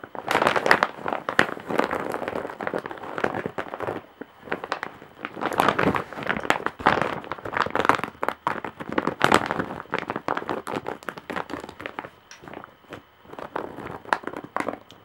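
Long nails scratch across the weave of a large, coarse-woven straw or jute bag in close-up. The result is dense, dry crackling and rasping in uneven bursts with brief lulls, mostly in the midrange with bright, sharp ticks and very little low end.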